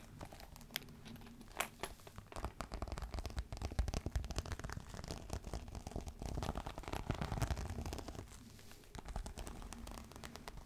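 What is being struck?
Embossed faux leather clutch.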